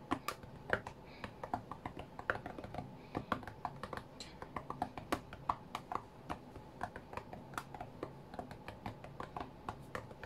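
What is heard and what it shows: Fingertips of both hands tap on the glass touchscreen of a white iPad lying flat on a mat. Quick, irregular, dry ticks patter over a quiet low hiss, each tap short and crisp with a bright edge and no ring.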